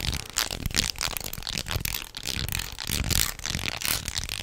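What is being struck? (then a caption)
Wooden jointed snake toy. Hands hang, twist and flex a wooden jointed snake toy with light wood segments, making the segments clack against each other. The result is a steady run of dry, bright clicks and rattles with little low end and no ring after each contact.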